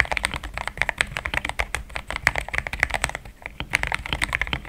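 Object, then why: Mechanical keyboard with plastic keycaps. Fast fingertip typing on a compact pink-cased mechanical keyboard with thick cream XDA plastic keycaps, which sound solid. A rapid run of short, crisp clacks centres around 2 kHz, with bright tops and a light low thump under each keystroke. Each one dies away almost instantly, with brief pauses between bursts of typing.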